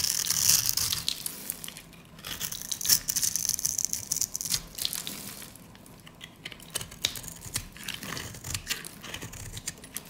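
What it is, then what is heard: Dry soap bar. A metal utility blade cuts tiny scored cubes off a solid, light-green, rounded bar of dry soap. Dense, crunchy crumbling and crackling with bright, sharp clicks is heard throughout, louder at first and easing off in the middle before continuing in quieter bursts.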